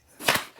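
Two quick taps on the carbon fiber fork of a new 2024 GT Grade Sport gravel bike, still partly wrapped in cardboard, give short, bright, hollow knocks that fade within about a tenth of a second. The fork sounds hollow when tapped, as expected for this light carbon fork.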